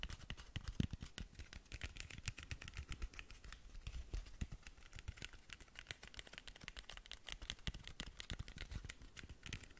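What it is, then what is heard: Cardboard cosmetic box. Long nails tap rapidly on the textured glitter side of a long, narrow cardboard lip gloss box. The result is a quiet, dense stream of short, dry clicks with a soft low thud under bright ticks and no ring between strikes.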